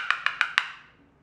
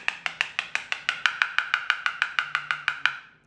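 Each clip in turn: First: Four quick, clicky taps around 1.4 kHz with a hollow rattle show a floor tile coming loose underneath. Second: Nineteen even, crisp taps with a bright clicky tone; the ceramic tile sounds solid and well bonded.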